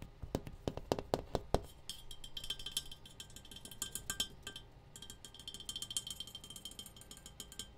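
A metal tea kettle is tapped, giving clinking metallic sounds. A few loud, sharp taps come first, followed by quicker, lighter tapping with a bright ringing tone near 3 kHz. Each tap dies away almost at once.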